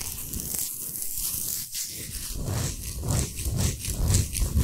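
Long nails scratch the surface of a large, flat, solid pink Himalayan salt block at a slower pace. Each stroke gives a gritty, crackling rasp with a bright hissy edge over a low rumble. The strokes grow louder and more rhythmic in the second half, at roughly two per second.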